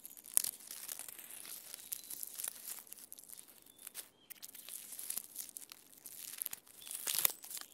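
Fingernails scratch and pick at the rough, peeling bark of a standing tree trunk. The result is a quiet, bright run of dry crackling and tearing scrapes with sharp clicks and almost no low end. Two louder snaps stand out, one near the start and one near the end.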